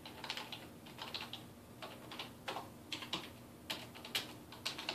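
Fingertips type rapidly on the keys of a dark plastic desktop keyboard resting on a wooden desk. A quick, uneven run of bright, crisp key clicks, centered around 3 kHz, comes in small bursts, each tap dying away almost instantly over a faint low hum.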